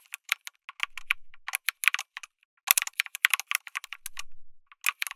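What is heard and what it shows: A backlit mechanical keyboard with plastic keycaps, an FR4 plate and tactile switches is typed on continuously with fingertips. The result is a quick run of sharp, bright clicks and clacks, with a brief pause near the middle and one heavier thock around 2.7 seconds.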